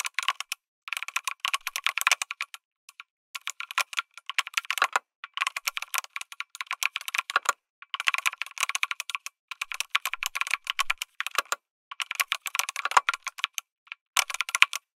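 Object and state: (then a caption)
Mechanical keyboard being typed on. A lit mechanical keyboard with an aluminum case and plastic keycaps is typed on by fingertips, producing bursts of rapid, crisp clicks. The short, bright keystrokes come in quick runs separated by brief pauses, with almost no low end and each click dying away instantly.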